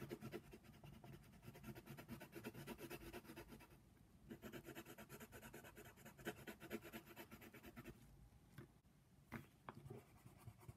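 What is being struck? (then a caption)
Colored pencil on a paper page. A hand shades the ear of a giraffe on a paper coloring book page lying flat, using rapid strokes of a brown colored pencil. The pencil lead makes a steady, dry scratching on the paper, with brief quieter pauses and a few sharper ticks near the end.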